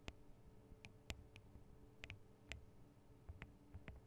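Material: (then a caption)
Metal. Long acrylic nails tap the small, hollow metal microphone capsules, with their metal guard wings, on a Tascam DR-40 recorder. The result is a scattered series of sharp, brief clicks with a bright metallic ping that dies away almost instantly, over a quiet, low background rumble.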